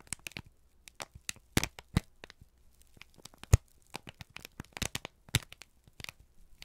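A single thin, crumpled sheet of brown kraft paper is held in both hands and squeezed and crinkled with the fingertips and thumbs. It makes a steady run of short, sharp, dry crackles and crinkles, with a few louder snaps standing out. A faint low hum sits underneath.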